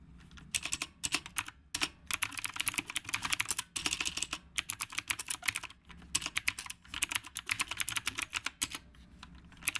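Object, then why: Mechanical keyboard with round plastic keycaps. A black retro typewriter-style mechanical keyboard with round plastic keycaps is typed on continuously with the fingertips of both hands. Dense runs of bright, crisp clacks with very short decay come in bursts separated by brief pauses, with almost no low end.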